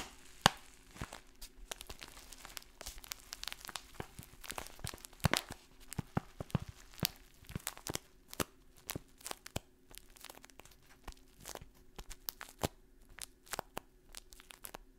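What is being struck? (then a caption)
Kraft paper pouch with dry contents. A printed brown kraft paper pouch that looks partly filled with dry contents is held in both hands, crinkled and tapped with long fingernails. Dozens of sharp, dry clicks and crisp crinkling rustles come quickly and unevenly over a faint, steady low hum, each tap dying away almost instantly.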